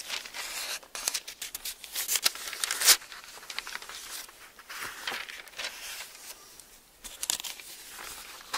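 Fingertips flip the thin, onionskin-like pages of an open Bible and smooth them flat, rubbing against the paper. The result is a steady run of bright, crisp rustles and crinkles with almost no low end, punctuated by sharper papery snaps, the loudest near the three-second mark.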